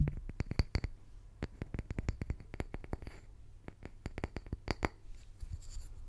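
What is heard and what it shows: A small round solid wood slice held in the hand is tapped and scratched with fingertips and short nails. Many quick, dry clicks with almost no ring are heard, mixed with soft scratching over a low hum.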